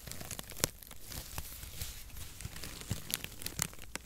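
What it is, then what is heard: Cardboard packaging shreds. Fingers crumple and spread a wide mat of crinkle-cut cardboard packaging shreds held above the microphone. Dry, papery crinkling and crackling run throughout, broken by sharp, bright snaps and tearing-like pops over a soft low rustle.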